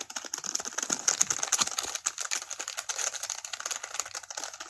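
A single small, finger-sized tampon in a crinkly white-and-yellow patterned plastic wrapper is held in both hands and squeezed and crinkled with the fingertips close to the camera. It makes a steady stream of rapid, bright plastic crackles and sharp snaps with almost no low end, each crackle cutting off instantly.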